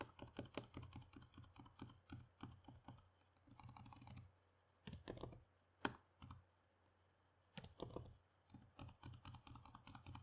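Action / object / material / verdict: tap / plastic laptop keyboard / plastic / none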